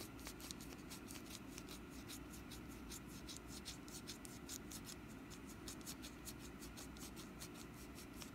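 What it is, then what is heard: Wax pumpkin candle. Long nails tap and scratch the ribbed surface of a small, solid, glossy orange wax pumpkin candle with a green stem and wick, held in the hand. Quiet, rapid, bright ticking taps and dry scratches repeat steadily over a low, soft background hum.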